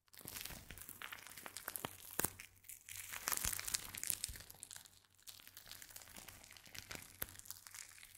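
A full, hand-sized plastic pouch with purple crinkly filling and a clip-on tag is crinkled, squeezed and scratched with the fingertips. The result is dense, bright crinkling and crackling with sharp snaps throughout, over a faint steady low hum. The sound swells loudest in the middle of the clip before settling into softer rustling.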